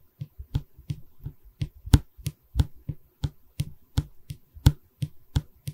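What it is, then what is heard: Wooden canvas stretcher frame. Long fingernails tap and scratch on a solid pine bar of a wooden canvas stretcher frame held in both hands. A quick, uneven run of short, dry taps lands with dull, low knocks and a faint bright click, each dying away almost instantly, with soft scratching between them.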